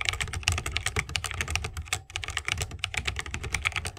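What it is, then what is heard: Mechanical keyboard with wooden case. Rapid typing with the fingertips of both hands on a 60% mechanical keyboard with a bamboo wood case, plastic keycaps and tactile switches. A dense stream of bright, sharp clicks sits over a low thock from each press, with only a brief pause near the two-second mark.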